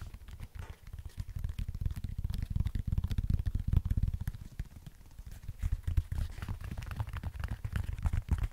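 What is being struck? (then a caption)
Synthetic running shoe with foam sole. Fingertips tap rapidly on the upper and the chunky foam midsole of an empty, hollow black and white synthetic running sneaker held close to the mic. The taps make a dense stream of soft, muffled, low thumps with almost no ring. They grow louder in the middle, ease off briefly, then pick back up.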